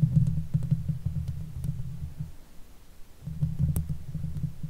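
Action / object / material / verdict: scrape / steel mesh microphone grille / steel mesh / none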